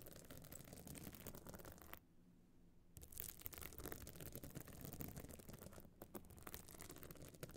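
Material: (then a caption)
Stone chips. Long nails scratch the surface of a small, hard metal-frame clutch bag covered in glued stone chips, which stands open. The result is a dense, continuous rasping and clicking with a heavy low end and bright flecks on top, broken by a brief, quieter pause near the two-second mark before the scratching resumes.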